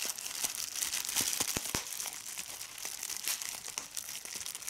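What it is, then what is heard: Plastic bubble wrap. Fingers crumple a large sheet of clear plastic bubble wrap held up close and pop its bubbles. A steady, bright crinkling rustle runs throughout, broken by irregular sharp, short pops.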